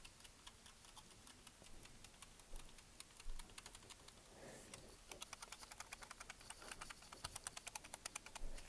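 A LEGO BrickHeadz Mandalorian figure is shaken close up, and its plastic mask, which is not firmly clipped in, rattles loosely. Rapid, bright plastic clicks and ticks come in irregular bursts that grow denser and louder toward the end. The loose mask is a fault in the build.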